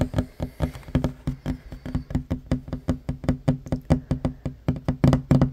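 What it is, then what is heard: Wooden table top. Fingertips and short nails knock and tap rapidly on a flat, solid wooden table top, producing about 29 quick, dull knocks. Each knock is a short, low, woody thump centered around 133 Hz that dies away almost at once, in an uneven fast rhythm that bunches closer together near the end.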